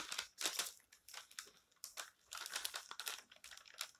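Bare fingertips smooth, rub and crinkle the thin printed pages of a thick open magazine lying on a table, and turn them. The result is a run of dry, bright paper crinkles and rustling bursts with no low end, each quickly fading between soft swishes.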